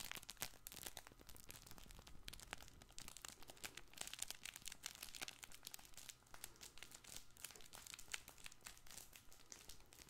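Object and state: Fabric crinkle toy ball.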